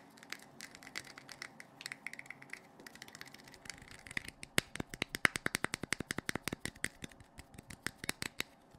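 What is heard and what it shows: A hand-sized, hollow blue plastic LED flashlight with a clear lens is held in the hands and tapped and clicked with fingertips and nails around its head and lens. Dozens of short, dry, bright clicks and taps come at an irregular pace, with no ring after each hit. They begin soft and scratchy, then grow louder and sharper from about the midpoint.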